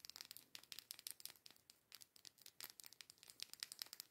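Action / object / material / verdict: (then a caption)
tap / small plastic liquid lipstick tube / plastic / none. Long nails rapidly tap and scratch the barrel of a small, filled plastic liquid lipstick tube with a pink cap. The result is a quick run of sharp, bright clicks and dry scratchy crackles that stop almost instantly, with almost no low end.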